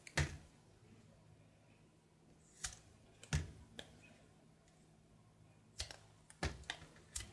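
A brown solid soap bar held in the hand is carved with a knife in scraping strokes. Short, crisp, dry scrapes with bright edges come at irregular intervals between quiet pauses, over a faint low steady hum.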